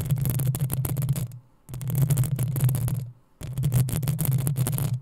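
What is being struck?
Metal mesh microphone grille.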